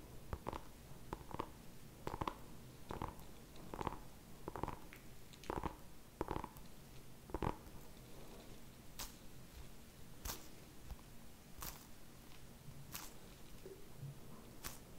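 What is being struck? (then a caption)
Small whole pumpkin. Fingertips and nails tap and scratch the surface of a small whole orange pumpkin held close to the mic. For the first half, steady quick taps give short, hollow knocks with a tone near 1 kHz. Later, sparser bright clicks and soft scratching sit over a low, rumbling background.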